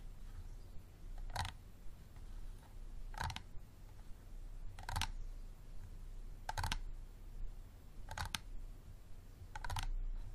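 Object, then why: Small plastic water bottle. A small, empty, clear plastic water bottle with a green cap stands on a table while its sides are tapped with fingertips and nails. Short, dry, bright clicky taps come in groups every second or two, some landing as quick doubles, and each dies away almost at once. A steady low hum sits underneath.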